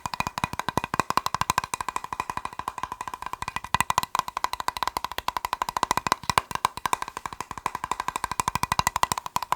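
A plastic box is tapped rapidly and continuously, about 90 sharp, dry clicks in a steady run. Each tap dies away almost instantly and carries a hollow, woody knock centred near 1 kHz with a bright edge and little low end.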